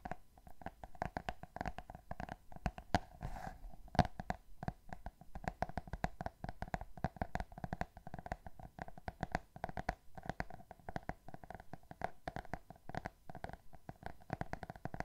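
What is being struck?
Cardboard hardcover book with glossy cover.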